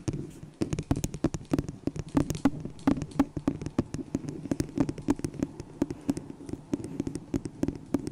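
Long nails tap quickly and unevenly on the base and sides of a small, hollow, empty white disposable plastic cup held over the microphone. Each tap is a dry, sharp click with a brief hollow tone in the low-mid range that dies away almost at once. The taps continue in a steady stream for the whole clip.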